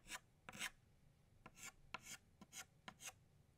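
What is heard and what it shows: An orange chalk stick draws new circles on a flat black chalkboard, making a series of short, bright, gritty scraping strokes. Each stroke rasps and stops dry, with quiet pauses between them.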